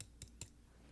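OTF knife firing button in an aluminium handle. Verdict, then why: Tight. Two light taps on the firing button of a Boker Plus Kalashnikov OTF knife with aluminum scales give two short, dull clicks with no rattle at all, unlike a Microtech's button. The button is tight and silent apart from the taps.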